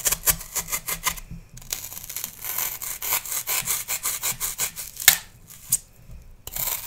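A metal knife blade is drawn repeatedly across a solid pale green floral foam block held in hand, shaving it with bright, rasping scrapes. The short strokes come in quick rhythmic bursts of dry, high hiss, with brief pauses near the start and end.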